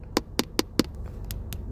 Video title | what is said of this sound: Arcylic, gel polish and stamping nails | if you tapping your nails on a table or a surface, that's the um noise that you want to hear just to make sure your acrylic is um drying properly